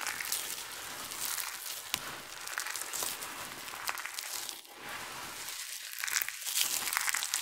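Fingers with long nails crumble small pieces of dry, multicolored soap shavings, then cupped hands scoop and pour the chips and palms sweep over the pile. The result is a steady, bright, dry crinkling rustle scattered with small crisp crackles and ticks, with almost no low end.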